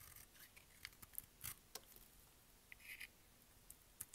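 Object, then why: Round bar soap scraped with a blade. A utility blade wrapped in black tape scrapes and shaves flakes off the embossed face of a hand-sized, solid, round, cream-colored dry bar of soap held in the palm. The sound is a quiet series of short, dry, bright scratching strokes with crisp high rasps and no ringing.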